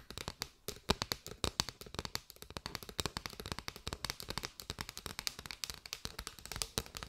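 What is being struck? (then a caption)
Bundle of paper straws. Long white nails tap and scratch on a bundle of hollow paper straws, shown from the side and at the open ends. Rapid, dry, bright clicks and papery scratches come in a steady stream, each one stopping almost instantly with no ring.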